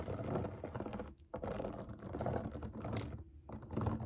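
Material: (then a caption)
Silicone. Long acrylic nails tap and scratch the bubbles of a large, round, rainbow silicone pop it fidget toy resting on a table. The result is a dense, rapid patter of soft, dull clicks and scrapes with a low, muffled body, broken by two brief pauses.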